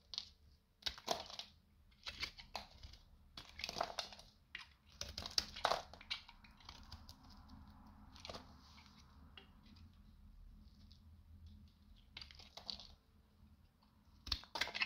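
A metal utility knife scrapes and slices thin flakes off a solid, dry, rancid rectangular beige bar of soap held in the hand. Sharp, bright crunchy scraping bursts come in quick irregular strokes, with a softer, steadier scrape through the middle before the crisp cuts return at the end.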